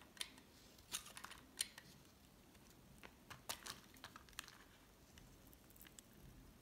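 A solid green bar of soap held in the hand is sliced into strips with a metal utility knife blade. The cuts come as quiet, bright, sharp scrapes and scratchy clicks, each dying away almost instantly, with little low-end weight between them.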